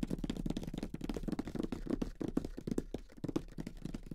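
Fingertips of both hands, with short nails, tap rapidly across the lid of a closed grey cardboard Monopoly box with the game inside. The result is a steady patter of soft, dull, hollow taps centered low around 270 Hz, each dying away almost instantly, with little high-end brightness.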